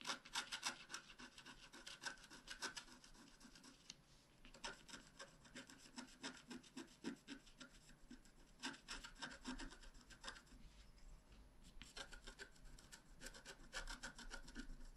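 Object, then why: Black-coated scratch art paper card scraped with a wooden stylus. A wooden stylus scratches across a thin, flat black-coated scratch art card, making quiet, dry, bright scraping strokes in rapid, uneven bursts of about three to four per second. The short rasping scratches come in clusters separated by brief lighter pauses, over a faint low hum.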